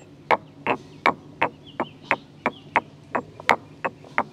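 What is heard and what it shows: A solid stone pestle, held by the fingers, is pounded and ground inside a hollow grey carved stone mortar. Twelve short, sharp stone-on-stone clacks land at a quick, slightly uneven pace, each bright and dry with almost no ring. Faint grinding scrapes fill the gaps between the strikes.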